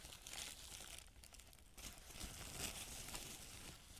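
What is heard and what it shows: A thin, crumpled white paper sheet, spread flat, is pressed and rubbed with a fingertip. It gives dense, bright crinkling and rustling that continues through the clip, with a brief quieter dip around the middle.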